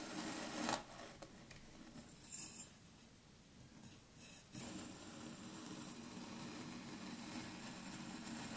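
A metal blade cuts slices from a solid block of kinetic sand layered blue, red and green on a wooden table, and the slices fall aside. Quiet, gritty rasping and scraping swell and fade as the blade passes through, with a few brief brighter scrapes along the way. The sand settles into a steady soft hiss by the end.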